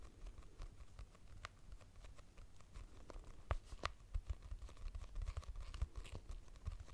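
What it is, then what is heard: Hardcover notebook. Long nails tap quickly and irregularly on a purple hardcover notebook with a price sticker and a solid paper block. The result is dry, short clicks and light scratches over a soft, low, thudding body, each tap dying away almost at once.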